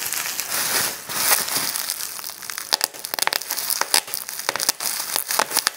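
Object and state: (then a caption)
Plastic bubble wrap being crushed and popped. A small wad of clear plastic bubble wrap is crushed in the fist, giving a dense, bright crinkling for the first few seconds. It is then pinched between both thumbs to pop the bubbles, producing a rapid series of sharp, dry pops over the continuing crackle.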